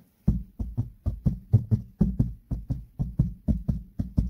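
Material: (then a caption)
Fabric. Fingertips and nails of one hand, wearing a ring, tap and scratch the grey fabric covering of a car headliner, a large flat roof-lining panel over a hollow space. Seventeen soft, dull, low thumps come in a loosely paired rhythm, each dying away almost at once, with faint scratchy texture between them.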